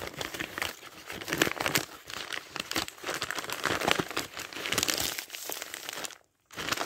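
Fingertips riffle and turn the thin paper pages of a thick dictionary, close to the page edges. Dense, bright crinkling and rustling comes in overlapping bursts with little low end, then drops to a brief silence near the end before the page sounds resume.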